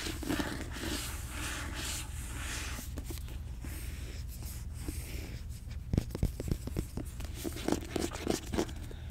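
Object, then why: Paperback book with glossy paper cover. Fingertips and nails scratch and tap the glossy paper cover of a closed, hand-held paperback copy of the novel "Throne of Glass." Soft, continuous scratching fills the first half, then gives way to sharper, irregular taps over a steady low hum.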